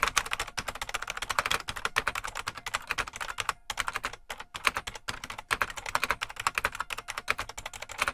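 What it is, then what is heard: Plastic mechanical keyboard being typed on. Fingertips of both hands type continuously on a full-size beige plastic IBM Model M mechanical keyboard with a hollow case. A rapid, steady stream of sharp, bright key clacks centers around 1.1 kHz, with very little low end and brief pauses between bursts. Each stroke stops almost instantly.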